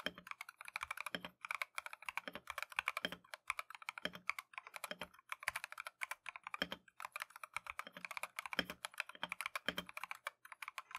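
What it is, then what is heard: Mechanical keyboard with plastic keycaps. A compact Keychron V1 mechanical keyboard with Tangerine switches and green and white Matcha plastic keycaps is typed on continuously with gloved fingertips. Quick, bright clacks follow in a steady stream, with some fuller, deeper strokes mixed in. Each keystroke dies away almost at once.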